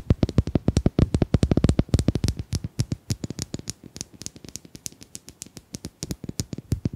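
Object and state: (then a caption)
Domino tiles tapped. Domino tiles are tapped in a quick, uneven run of dozens of short, dry clicks, each with a low thud and a bright tick on top. The taps are louder and denser in the first half, then lighter and more spaced out toward the end.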